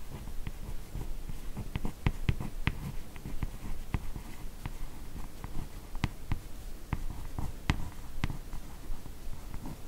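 Long nails trace, scratch and tap along the drawn lines of a large, solid hardcover comic album ("Lady S") lying flat, its glossy laminated cardboard cover giving a soft, low scratching texture. Irregular sharp, dry taps click out brightly over the steady scratching and die away almost instantly.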